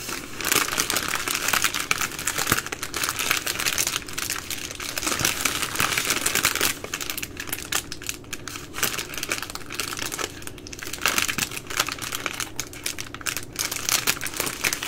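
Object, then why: Plastic film wipes packaging. Long nails scratch and crinkle the loose plastic film at the sealed ends of full plastic baby wipe packs. Close, steady bright crackling and scratching with dense, irregular rustles continue throughout, easing slightly after the first several seconds.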